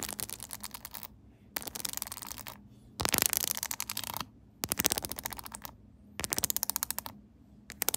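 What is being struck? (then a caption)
Hard plastic phone case with studs and rhinestones. Long pink acrylic nails tap and scratch quickly across the back of a hard plastic phone case covered with pyramid studs and rhinestones, with the phone inside and held upright on a tripod. Bursts of rapid, dense, bright clicking come in five runs separated by short quiet gaps, with a light scraping texture under the taps.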